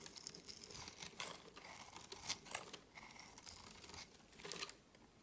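A utility knife blade scrapes the surface of a solid, hand-sized green soap bar, producing fine crumbly shavings. The result is a quiet run of bright, crisp rasping and crinkling scrapes with a few louder bursts and almost no low end.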